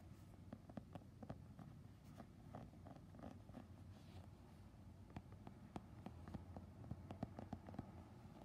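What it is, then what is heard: Synthetic mesh training shoe. Fingertips and short nails scratch and tap the synthetic overlay panel on the side of a grey Nike Renew men's training shoe with a knit mesh upper, held close and tilted by the end. The sound is a quiet, steady run of short, dry clicks and scrapes over a low, hollow rustle, with no ringing after each tap.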